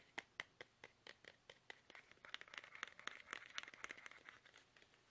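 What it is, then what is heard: Plastic toothpaste tube. Fingertips tap fast on a small, soft, hollow plastic toothpaste tube held upright in both hands. Sharp, dry, bright clicks with no low end start as separate taps, then crowd into a dense, crinkly flurry.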